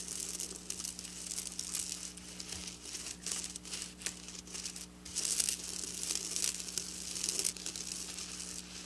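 Long black nails scratch and rub across flat silver sequin fabric. The result is a continuous bright, crinkly rustle with quick scraping bursts, over a faint steady low hum.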